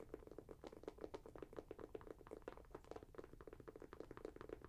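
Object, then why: Leather and mesh sneaker. Long nails scratch and fiddle over the leather and mesh upper and laces of a red, grey and white Nike Air Max 90 sneaker, held up in the hand, hollow and empty. It makes a quiet, rapid run of dry scratches and soft taps with a hollow mid-toned resonance and very little high-end or bass.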